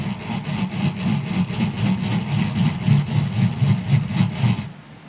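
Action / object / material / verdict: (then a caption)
scrape / silicone scrubber sponge / silicone / none. A grey silicone scrubber sponge lying on a fur rug is scratched across its bristles with the fingertips of both hands. The result is a steady, rhythmic scratching with a low rumbling body and bright, crisp high crackle, which stops abruptly near the end.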